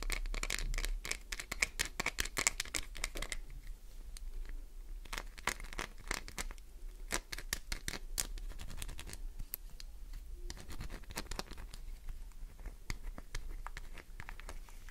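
Long nails rapidly scratch and tap the embossed logo face of a solid green glycerin soap bar held in hand. The result is a dense stream of dry, bright clicks and scratchy rasps, with very short decays and no ringing.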